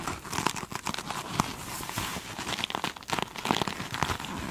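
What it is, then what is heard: Glitter-coated foam sponge. Long, pointed chrome nails on both hands scratch the glittery top of a single hand-sized foam sponge with a beaded glitter surface, soft and solid. The result is a dense, continuous crinkling and crackling scratch with bright, gritty detail and quick uneven bursts.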